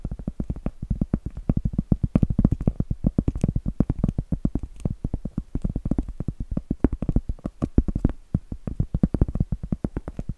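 A large, round, solid cork board is held upright and rapidly tapped and scratched with long acrylic nails. A dense stream of quick, dull, low taps dies away almost instantly, with faint scratching between them and little brightness.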